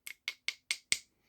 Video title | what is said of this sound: V-20 Archaic Culture Thebes Points | This definitely sounds like plastic.